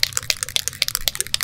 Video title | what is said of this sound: Gundam 101 w/ JOBBY! Part 3: Clear Coat Cancer | you hear that ball in there that ball is going to mix up all the paint